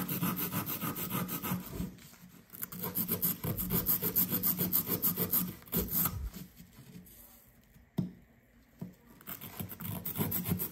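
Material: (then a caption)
Sand. A blue plastic chisel scrapes a solid blue compressed sand dig brick, which crumbles onto a paper towel. Quick, rhythmic gritty scraping and rasping with loose sand is heard, with low, rubbing body and bright, hissy grit on top. The scraping eases off for quiet stretches around 2 and 6.5 seconds, a sharp tap lands at about 8 seconds, and steady scraping resumes.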